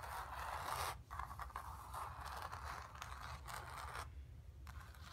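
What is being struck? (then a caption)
Acrylic-painted stretched canvas on a wooden frame. Long nails scratch across the surface of a square, acrylic-painted stretched canvas on a wooden frame, hollow behind, resting on carpet. Dry, papery scraping strokes with a midrange rasp come in bursts separated by brief pauses, over a low rumble throughout.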